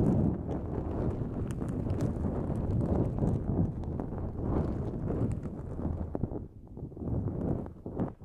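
Long nails scratch a pink-white, mesh-like nonwoven fabric drawstring pouch pulled over the microphone. The result is a dense, muffled, low rumbling scrape with quick crackly ticks throughout. It stays fairly steady before easing off briefly after about 6 seconds and near the end.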